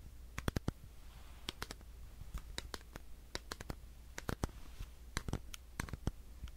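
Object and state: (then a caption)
Plastic power bank. A solid black plastic power bank is tapped and scratched with fingernails, giving a quick, irregular run of short, sharp, bright clicks that stop almost instantly. Faint scratching and a steady low hum sit underneath.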